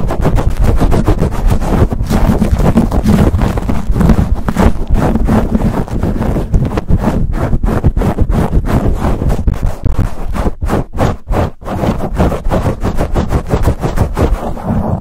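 Fingertips and nails rapidly and aggressively scratch and tap a black foam windscreen on a silver condenser microphone. The result is a dense, continuous stream of deep, boomy rubbing and thumping with quick, short-decaying hits and little bright content, briefly thinning out near the end.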